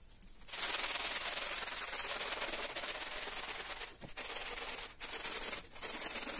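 A gloved hand in orange rubber gloves scrubs a small, flat, round patterned pile carpet (wool or synthetic textile) that lies wet and soapy on a tiled floor, rubbing a green-yellow scrubbing sponge back and forth over the pile. After a quiet start, a steady, bright, hissy scrubbing sound begins, dominated by high frequencies. It carries on with brief dips near four, five and five and a half seconds.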